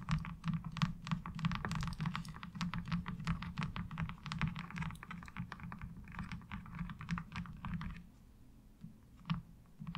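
Long acrylic nails tap and scratch quickly across a thin, hollow-backed, light blue molded plastic laundry washboard with a diamond-textured surface, lying on fabric. The result is a dense, irregular run of short, crisp clicks over a steady low hum, easing to a few scattered, softer taps near the end.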